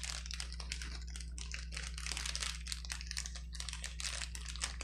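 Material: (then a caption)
Plastic. Fingertips press and squeeze the bubbles of a clear plastic bubble wrap sheet resting on a table, lifting one edge as it crinkles. Dense, bright crackling and crinkling fills the clip in quick, irregular bursts over a steady low hum.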